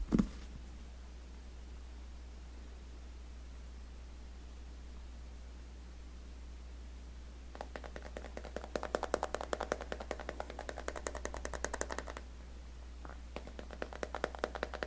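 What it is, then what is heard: Glass-backed smartphone tapped with fingernails. Fingertips and nails tap rapidly on the glass back of an iPhone X with a steel frame, held in both hands above its box. After a brief soft knock at the start and a long quiet stretch, a fast patter of light, crisp taps runs from about 7.5 to 12 seconds, then resumes briefly near the end. A steady low hum sits underneath throughout.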